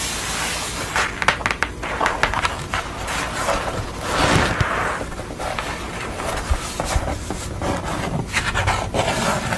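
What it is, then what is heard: Painted art board. Long nails tap and scratch across the surface of a grey-board portrait painting lying flat on a towel, with fingertips resting at its edges. Sharp, crisp taps stand out over a steady rustling scrape, and a broader smeared scratching swell builds around the middle of the clip.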